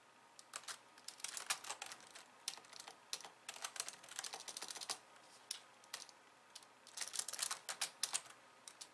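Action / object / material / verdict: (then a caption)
tap / plastic computer keyboard / plastic / none. Two hands with long glossy nails type on a pink plastic slim computer keyboard with white keys. Quick, bright key taps come in uneven bursts separated by short pauses. Each click is dry and stops at once, with no ring.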